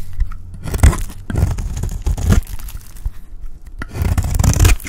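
A round, solid, dry cream soap bar held in the hand is scraped with a utility blade. The scraping comes in repeated dry, tearing, crumbly strokes with a low, rough body and brighter gritty edges.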